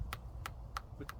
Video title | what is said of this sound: Growing Butternut Squash #growyourownfood | It's kind of like a hollow sound. Like a watermelon, like you're checking a watermelon.